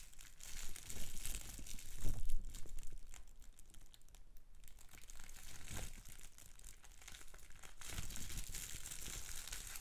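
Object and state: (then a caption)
Plastic bubble wrap. Fingertips and nails pinch and pop individual large air-filled bubbles on a sheet of clear plastic bubble wrap, up close. Steady crinkling and rustling of plastic is broken by sharp pops and soft low thumps. The loudest burst comes around two seconds in.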